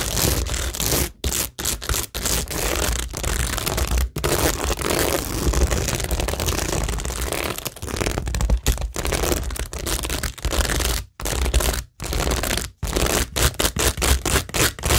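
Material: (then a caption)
Cork, plastic. Long nails scratch across the rows of plastic rhinestones on a cork tingle board, making a dense, crackly scraping texture that spans low to bright highs. The scratching is broken by short silent gaps, with a steady low hum underneath.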